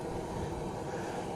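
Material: Nothing is struck.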